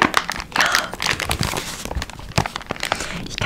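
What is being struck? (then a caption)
Kraft paper gift bag. A small, closed brown kraft paper advent calendar bag with a round purple "18" sticker and something inside is held in both hands while fingertips squeeze and crinkle the paper. Dense, bright crinkling and crackling runs throughout, with brief sharper crunches standing out from a steady papery rustle.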